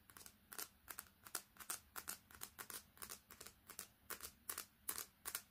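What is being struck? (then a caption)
Smartphone with glass screen and metal frame. Long painted nails quickly tap and scratch the glass screen and frame of a smartphone with a metal back, held close. The result is a fast, irregular stream of short, dry, bright clicks and scrapes that die away almost instantly over a faint low hum.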